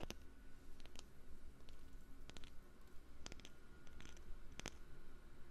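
A wooden lid is tapped for ASMR, giving soft, sharp, dry taps with very little ring, scattered irregularly over a steady low rumble. Some taps land in quick pairs or clusters, and their clicky edges reach up into the high range.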